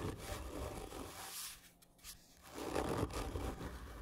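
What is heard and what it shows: Long nails of both hands scratch hard and slowly along the length of a hollow, black printed cardboard gift tube. The rough, raspy scraping carries a low, hollow rumble, drops quiet briefly in the middle, then returns louder and grittier.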